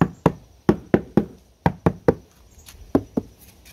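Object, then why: Sheet-steel car door and quarter panel. Knuckles knock repeatedly on the painted sheet-steel rear quarter panel and door of a black Honda Civic, a large hollow panel. Each knock is a short, dull thud centered low around 200 Hz that dies away almost at once, coming in irregular groups with quiet gaps between them.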